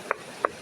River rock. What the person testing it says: Ayan, matigas. Yan, matigas siya.